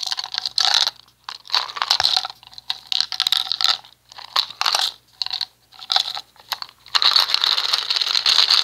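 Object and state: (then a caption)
Plastic cosmetic jar. A small round red plastic cosmetic jar with a screw lid, the hair gel or cream type, is held in one hand and tapped with the fingertips. The result is quick, bright, crunchy tapping in irregular clusters with short pauses, almost no low end, and a longer continuous crinkly rustle at the end.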